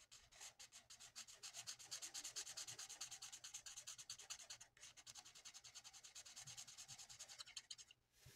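The felt tip of a lilac plastic marker rubs back and forth over the same area of a flat sheet of mandala paper in continuous coloring strokes. It makes a soft, bright, scratchy swishing at roughly three strokes per second, with a brief break just before the five-second mark and a quieter gap near the end.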